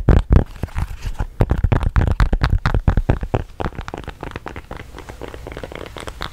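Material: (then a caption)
Silicone. A square, hand-sized teal silicone pop-it fidget toy with hollow bubbles is held in both hands while fingertips and long painted nails press and pop the bubbles. The result is a rapid, dense run of dozens of short, dull pops and soft crinkly clicks with a low, thumpy body. The pops are loudest over the first few seconds and then settle into softer, quicker popping.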